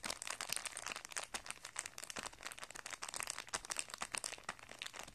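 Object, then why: Thin plastic packet with card and coiled strings. An open hand and fingertips press and crinkle a thin, flat, light clear plastic packet of guitar strings, holding a printed paper card and coiled metal strings, as it rests on carpet. The result is a quiet, continuous run of bright, dry crinkling and tiny crackles with almost no low end and no ringing.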